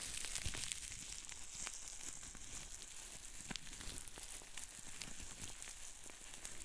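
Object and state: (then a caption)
Plastic bubble wrap being popped. Hands squeeze and twist a sheet of green plastic bubble wrap with big bubbles, held like a tube, popping the bubbles. A steady bright, sizzling crackle of crinkling plastic runs throughout, broken by sharp pops, with a low rumble underneath.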